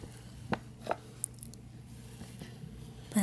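Fingertips and nails tap and scratch the front face of a hollow, upright printed paper gift bag with a Chewbacca design. Soft, dull papery taps stand out at irregular moments over a quiet background, ending in a longer brushing scratch.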